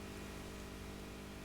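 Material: Nothing is struck.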